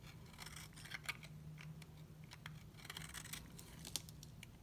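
A utility knife blade scrapes a hand-sized, solid white bar of dry soap held in the other hand, shaving off curls and flakes. The clip is a run of crisp, bright scraping and crackling strokes over a steady low hum. It is quiet overall, with a few sharper peaks.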